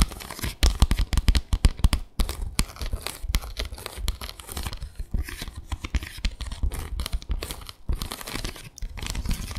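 Long acrylic nails scratch across the slats of a small, flat bamboo slat placemat with fabric edging. The result is a dense, irregular run of rapid, dry rasps and clicks that sounds bright and papery. Each stroke is crisp and short with almost no ring, over a low rumble.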